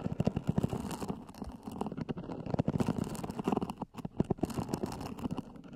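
Fingernails scratch the lid of a small, hollow black zippered EVA hard-shell earphone case, recorded close-up. A rapid, steady run of dry scratching taps sounds dull and low, with little bright content and no ring after each stroke.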